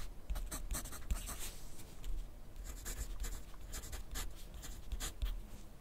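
A wooden graphite pencil writes continuously on a sheet of lined paper clipped to a flat clipboard on a wooden desk. The pencil tip scratches across the paper in quick, bright, dry strokes over a faint low rumble, with the short bursts of scratching running steadily for the whole clip.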